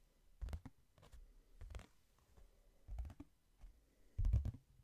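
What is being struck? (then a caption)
Hardcover book. Fingertips tap on the cover and page edges of a hardcover book, moving from slow to fast. The taps come in soft clustered bursts of dull, low thuds with quick clicky edges and very short decay. Quiet pauses fall between the groups, and the last burst near the end is the loudest.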